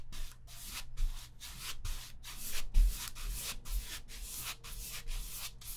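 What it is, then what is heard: Stretched cotton painting canvas being sponged. A hand-held paint sponge repeatedly dabs and rubs a large stretched cotton painting canvas, taut fabric over a hollow frame, on an easel while blending grey paint. It makes a steady run of soft, bright, scratchy swishes, one per stroke, over a faint low hum. Each stroke ends quickly with almost no ring.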